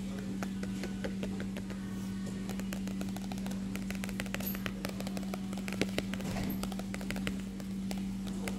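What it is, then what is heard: Paper magazine. A closed glossy paper magazine, a stilwerk Magazin "Come Back Issue," lies flat while the fingertips of an open hand tap rapidly on its solid stack of pages. The result is a continuous flurry of soft, dry, short taps, with a ring on one finger possibly adding small clicks. A steady low hum runs underneath throughout.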